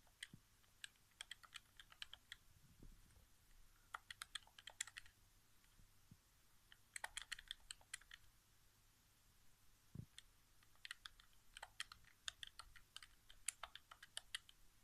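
Fingertips quickly tap the face buttons of a hollow white plastic PS4 game controller resting on carpet. Quiet, bright, dry clicks come in rapid clustered bursts with short pauses between them. Each click dies away almost instantly, with a faint low thump now and then.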